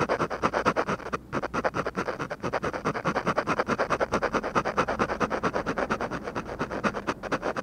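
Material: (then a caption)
Paper. A ballpoint pen rubs and scratches rapid, repeated hatching strokes across a flat paper drawing sheet, seen from the side. Dozens of short, dry scratches come at a quick, uneven rhythm of roughly two per second, with a brief pause near the start. The sound is a papery midrange rasp centered around 1.3 kHz.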